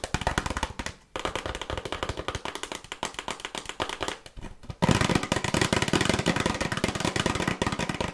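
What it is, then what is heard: Cardboard cookie box. Long nails tap quickly across the faces and edges of a small, closed, red printed cardboard box of burger cookies that is hollow with contents inside. The result is a dense run of short, dry clicks and knocks with almost no ring. After a brief pause near the five-second mark, the tapping grows louder and fuller for the rest of the clip.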